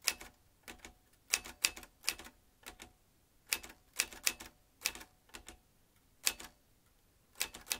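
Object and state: Manual metal typewriter being typed.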